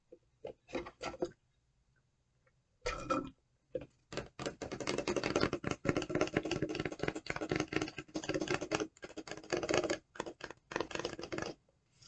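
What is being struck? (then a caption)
Paper coffee cup. Long decorated nails tap and scratch the side of a large white McCafe paper cup with a red snowflake print and its lid on. A few quick bursts of dry tapping give way to a short pause, then dense, rapid scratching and clicking that continues with brief gaps to the end. The sound is crisp and papery, with almost no ring.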